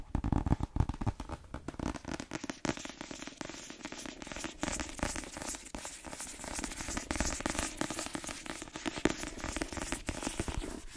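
A cream paperback book marked "M", a solid block of paper, is held up while long nails tap and scratch fast across its cover and fingers grip it. Dense, dry clicks and crackly scratching run continuously, with a low papery thump under them and some sharper taps standing out.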